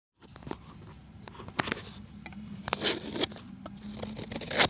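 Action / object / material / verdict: scrape / chalk block scraped with a steel knife blade / chalk / none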